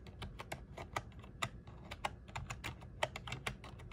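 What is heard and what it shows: Fingertips press and tap the keys of a small black plastic one-handed gaming keyboard with RGB backlight, resting on a desk mat. A quick, irregular string of short, dry plastic clicks and clacks sounds over a faint low background rumble, with each keystroke dying away almost instantly.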